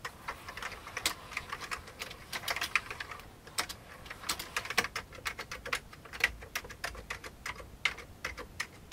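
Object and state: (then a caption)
Old plastic computer keyboard. Both hands type with their fingertips on an old beige plastic computer keyboard. The result is a quick, uneven stream of sharp, bright plastic clicks and clacks with almost no low end, each key hit dying away at once.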